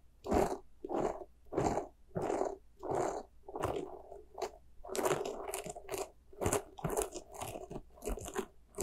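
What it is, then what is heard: Soft rubber spiky toy scratched. Long nails scratch the bristles of a small white soft rubber spiky ghost squishy toy. Soft, bristly crunching scrapes repeat in short bursts, first at a steady pace and then in quicker, overlapping strokes.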